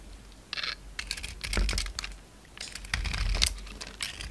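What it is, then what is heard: Bar of soap with glitter coating being shaved. A utility knife blade scrapes and shaves the purple glitter coating off a palm-sized, solid oval bar of white soap held in the hand, leaving flakes. Short, bright, crisp scraping bursts come in irregular strokes over a faint low rumble.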